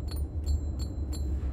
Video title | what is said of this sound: Rolls-Royce Spectre 2023 - First Drive - OtoDriver | yang di belakang sama juga ada bunyinya jadi bukan cuma di depan tapi di belakang juga ada